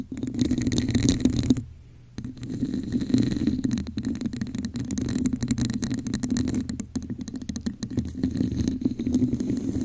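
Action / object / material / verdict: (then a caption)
scrape / textured plastic cup / plastic / none. A hollow red textured plastic cup sits over the microphone and is tapped and scratched with long acrylic nail tips. The result is a dense, crackling scratch with a hollow, boomy resonance and fast clicky taps, broken by a brief quiet pause near the start before the scratching resumes.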